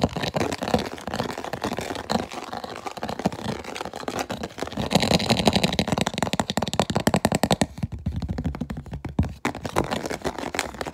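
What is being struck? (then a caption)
Clear plastic food container with plastic lid. Fingernails rapidly tap and scratch an empty, hollow clear plastic food container with an orange vent lid held in both hands. The sound is a dense stream of short, dry clicks and rasping scrapes with almost no ring. The scratching brightens in the middle and thins out toward the end.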